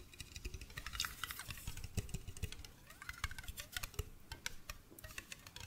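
A medium blue glass mason jar with a silver metal screw lid, hollow and apparently empty, is held in the hands, turned near the microphone, and tapped with fingertips and nails on the glass body and the lid. The result is a quick, irregular run of short, dry taps with soft low thuds under bright clicking ticks that die away almost at once.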